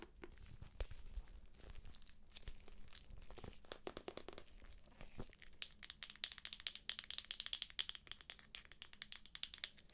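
Long nails scratch and tap the cover and pink page edges of a thick paperback book sealed in plastic shrink wrap. Dense, crinkly scratching mixes with quick, sharp taps that die away at once over a faint low hum. In the second half the strokes grow brighter and more rapid.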